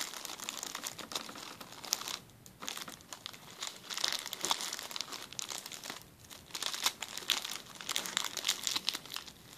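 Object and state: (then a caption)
Crinkled plastic zip-lock bag. A clear plastic zip-lock bag is pressed and crinkled by fingers on a table, giving a steady run of bright, crackling crinkles with brief quieter pauses near two and six seconds. The sound is almost entirely high-pitched rustle, with no low end and no voice.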